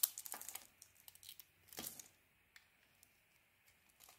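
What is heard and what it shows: A hand-sized solid bar of soap with a red coating and white core, held in one hand with long painted nails, is shaved with a metal utility-knife blade. Crisp, bright scraping and crinkly crackling come in quick bursts, loudest at the start and again near the two-second mark, then thin out to faint isolated ticks. The carved strips pile up as flakes.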